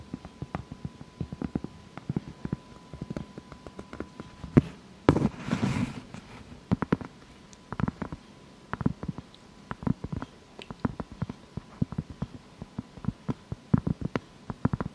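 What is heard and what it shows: Long fake nails tap and scratch a thin, solid, round granulated cork board or coaster that is held up, producing a rapid series of short, dull, low-pitched taps. Around the fifth to sixth second there is a brief, broader scratching rustle, and a faint steady tone hums beneath the first few seconds.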